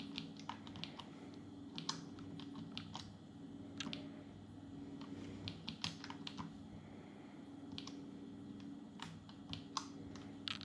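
Both hands type quickly with their fingertips on the plastic keys of an open, small dark plastic Atari Portfolio palmtop computer. Sharp, bright clicks come in quick irregular bursts over a steady low hum. Each click is short and dies away at once.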